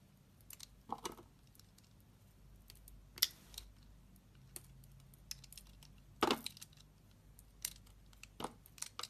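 A solid oval, pale blue Dove-type bar of soap held in the hand is carved into flakes with a metal utility knife blade. Irregular, crisp scrapes and crackles come in short bright bursts over a quiet low hum, with one louder cut near the middle.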